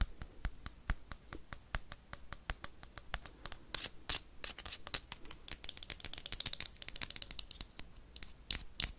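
Metal paperclips worn on the fingertips tap and scratch a small, hollow, clear glass jar with a black plastic lid. Sharp, bright clicks with a thin high glassy ping come in quick succession, then give way to denser, faster scratching and tapping in the second half.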